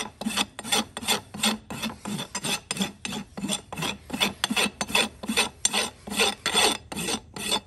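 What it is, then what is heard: Horse hoof being rasped. A large steel rasp files the front of a solid keratin horse hoof wall resting on a metal stand, using long repeated strokes. Each stroke makes a bright, coarse grating rasp with a faint low body, and roughly twenty separate strokes follow one another in a steady back-and-forth rhythm.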